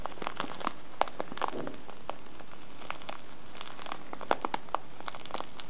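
A small, filled brown kraft paper tea bag with a clear window is rubbed and scratched by a fingertip and nails on the window and sides. Soft, irregular paper crinkles and sharp crackling scratches pop out over a quiet, steady background hiss.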